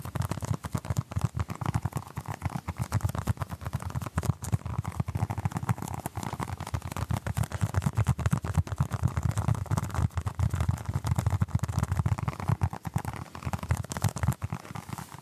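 A small orange basketball-patterned stress ball, apparently made of solid soft foam, is held in both hands close to the microphone and scratched and tapped with the fingertips. The result is a steady, dense stream of rapid, muffled low thumps and soft rubbing scratches with almost no ring or brightness, continuing for about fifteen seconds.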